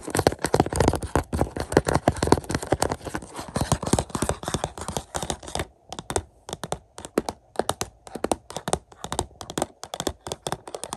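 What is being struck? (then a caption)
Plastic Blu-ray case in a cardboard slipcover. Several fingertips tap quickly on the back cover of a hollow Mission: Impossible 4K Blu-ray case in a cardboard slipcover, lying flat on carpet. The result is a rapid, dense patter of short, dull, hollow taps, continuous for the first half, then breaking into quicker separated bursts with brief pauses.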